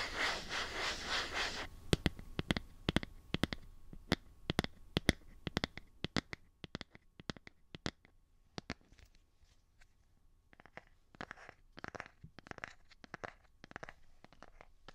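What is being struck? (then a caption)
Plastic phone case on a smartphone. Fingernails scratch and rub the surface of a light blue plastic phone case on a smartphone held in both hands. A dense, bright rasping rub opens the clip, then gives way to irregular sharp, dry clicks and ticks. It ends with softer, quieter bursts of scratching.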